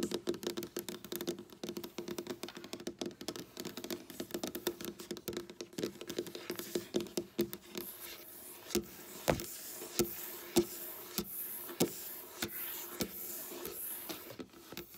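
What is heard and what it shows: Long black nails tap and scratch rapidly with both hands on a flat, solid, dark wooden tabletop. Dense, quick, dry clicks and patters with a short ring give way to sparser, sharper taps over bright scratchy hiss, with a faint steady hum underneath.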